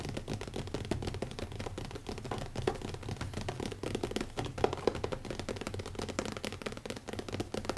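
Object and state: Leather-covered hardcover notebook.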